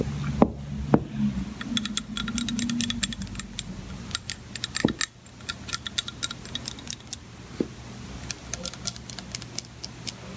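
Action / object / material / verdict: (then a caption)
tap / glass measuring cup / glass / none. Long painted nails tap rapidly and irregularly on the side of an empty, clear Pyrex-style glass measuring jug with red markings, resting on a white cutting board. The taps are sharp, bright clicks that die away almost instantly, with a few louder knocks over a steady low hum.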